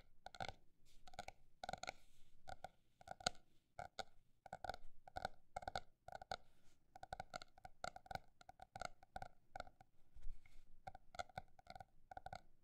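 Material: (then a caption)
Paper. A paper notebook is tapped with a mix of fast and slow taps. Each tap is a short, dry, hollow knock centered around 720 Hz with some low thump, dying away almost instantly. The taps come in uneven bursts and pauses throughout.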